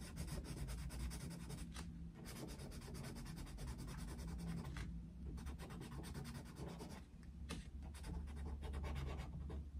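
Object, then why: Paper colouring book under a wooden coloured pencil. A yellow wooden coloured pencil shades quickly back and forth across a picture of Mickey Mouse in an open paper colouring book on a desk. The rapid strokes make a steady run of soft scratching and rubbing on the paper over a constant low hum.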